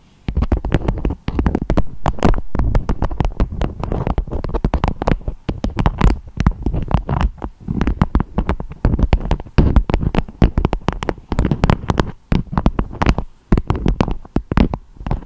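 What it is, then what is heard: Beeswax food wrap. Long acrylic nails tap and scratch on a beeswax-coated fabric food wrap with a strawberry print, shaped into a dome. Dense, rapid, muffled taps with a deep, thumpy low end blend into soft scratching. Each tap dies away almost instantly, with only brief pauses between bursts.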